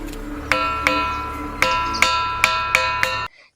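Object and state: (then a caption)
Ringing musical rock. A granite "music rock" boulder near the Vijayawada highway, resting partly in the air and dented from many visitors striking it, is struck seven times. Each hit gives a bright, bell-like ring centered near 1.3 kHz with sustained metallic overtones. The ringing builds and overlaps across the strikes before cutting off.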